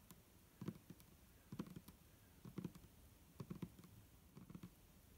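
Long nails from both hands tap the sides of an upright, hollow clear plastic micellar water bottle with a green cap, holding liquid. Five quick bursts of soft, dull, low taps with faint nail clicks are heard, each dying away almost instantly, with quiet pauses between them.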